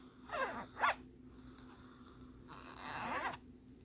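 Fingernails and fingertips scratch the ridges of a thin, flat plastic lenticular postcard printed with a jellyfish image. Two quick, raspy scratches come early, then a longer, brighter scraping stroke follows after a quiet pause. The ridged plastic gives a dry, midrange zipper-like rasp over a faint steady hum.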